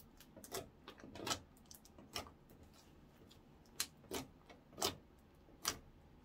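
A blob of translucent orange clear slime on a wooden counter is folded and poked with fingertips and short nails. The result is a series of sharp, bright clicks and wet pops spaced irregularly over quiet pauses, each one dying away almost instantly.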